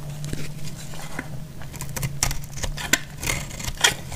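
A utility knife blade cuts into a solid bar of dried blue soap held in the hand, chipping off brittle pieces. Short, dry, bright crackling snaps come at an uneven pace, with a few sharper cracks. A steady low hum runs underneath.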